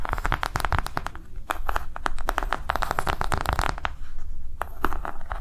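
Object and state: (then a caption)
Silicone coaster tapped and scratched with nails. Long nails rapidly tap and scratch a round, flat, green ribbed silicone coaster resting on a table. Quick, dull clicks and soft scratchy strokes blur into a dense, steady patter that dies away almost instantly after each contact.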